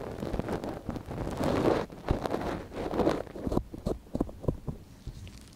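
A gloved hand scratches and rubs inside the ear canal of a small, hollow white silicone dummy ear on a binaural microphone, which lies on yellow fabric, using a thin wooden or bamboo ear pick. Close, muffled rustling and scraping swell and fade, then give way to a series of short, soft clicks and scratches.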